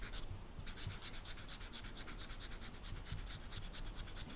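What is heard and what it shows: A brown felt-tip marker is rubbed back and forth over the flocked surface of a small, flat, rectangular velvet-flocked paper poster, held with the other hand with long red nails. The result is a steady run of quick, rhythmic, bright scratchy strokes over a soft low rumble.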